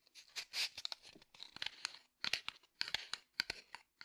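A small red and white cardboard matchbox is held in one hand and tapped and scratched with the fingertips and nails of the other hand. The result is a run of quick, dry, papery taps and scratchy rasps in irregular bursts with brief pauses. The sound is bright and crisp, with almost no low end and each hit dying away almost instantly.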